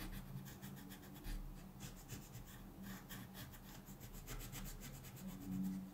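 A colored pencil is rubbed in repeated strokes across a thin paper mandala page from a coloring book, lying flat on a table and held down by one hand. The result is a soft, steady scratchy rubbing with faint bright streaks from each stroke, over a low, constant hum.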